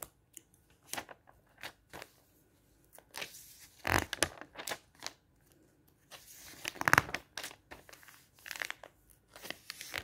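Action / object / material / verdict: scrape / thin glossy paper magazine / glossy paper / none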